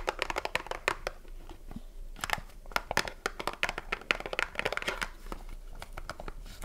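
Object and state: Cardboard soap box, tapped and scratched.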